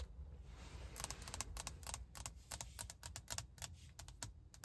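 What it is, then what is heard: Glass car touchscreen. Long acrylic nails and fingertips tap and scratch across a large, flat glass infotainment touchscreen set solidly in a car dashboard. Rapid, crisp clicking taps with bright, short-lived ticks come in quick bursts. A steady low rumble runs underneath.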